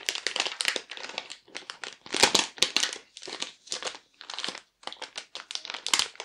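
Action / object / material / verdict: scrape / thin clear plastic packaging sleeve / plastic / none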